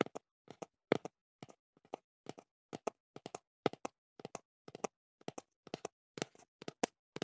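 Fingertips tap the flat face of a small, hollow, teal cardboard earplug box held up in one hand. About thirty quick, dry, hollow taps, often in close pairs, each with a papery mid-range knock near 440 Hz, die away almost instantly. Short silent gaps separate them, and the overall level stays quiet.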